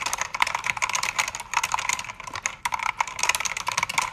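Two hands with red-nailed fingertips type quickly on a full-size black backlit mechanical keyboard with plastic keycaps while its backlight shifts color. The result is a dense run of bright, sharp clacks and clicks that die almost instantly, with a few brief pauses between bursts.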